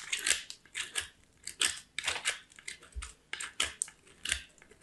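A small, solid white soap bar is scraped across a small steel box grater in repeated grating strokes. About fifteen short, bright, raspy scraping bursts come at an uneven pace, with crisp high-pitched texture and almost no low end.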